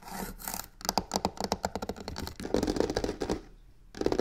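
Long painted fingernails fast-scratch and tap the sides of a medium hollow box covered in black embossed crocodile-texture faux leather with white stitching, resting on a wooden table. Rapid, dry scratching alternates with quick, short-ringing taps that give a light hollow knock.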